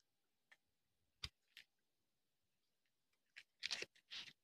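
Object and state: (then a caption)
Dry soap bar being carved. A solid orange bar of dry soap, held in the hand, is carved with a small metal knife, so thin shavings curl off and fall onto concrete. Several short, dry, bright scraping cuts sound with quiet gaps between them, and the strokes come more closely bunched near the end.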